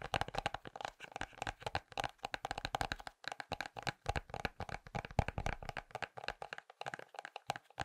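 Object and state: Ceramic pumpkin tapped with fingers and nails.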